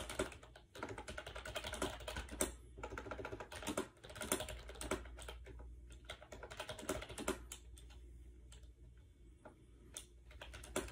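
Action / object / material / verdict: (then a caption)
tap / plastic wireless keyboard / plastic / none. Fingertips rapidly press the round keycaps of a compact gray plastic AJAZZ 308i wireless Bluetooth keyboard with a hollow shell, resting on a bed. The result is a dense run of quick, light clicking taps with short gaps, over a steady low rumble.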